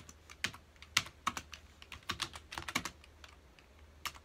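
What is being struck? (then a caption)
Plastic computer keyboard. A full-size black plastic computer keyboard on a dark desk has its keys pressed rapidly by the fingertips of both hands. About thirteen short, bright, clicky taps come in an uneven typing rhythm, each dying away almost instantly over a faint, steady low hum.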